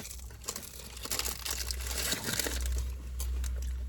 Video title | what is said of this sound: We Tried Wonton Soup from New China (Fall River, MA)… Worth It?! | looks like it has a good crust sounds like it too